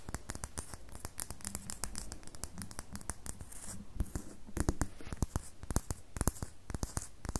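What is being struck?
Soap bar.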